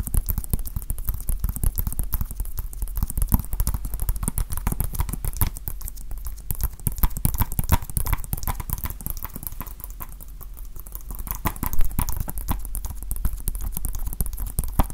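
A small hollow plastic Nintendo Switch game case is held in one hand and tapped with the fingertips and nails of the other. The result is a dense, continuous run of quick, dry clicks and taps that stop dead, with a low, hollow thud under each tap and a bright edge from the nails. The pace eases briefly around the tenth second, then picks back up with a sharper tap near twelve seconds.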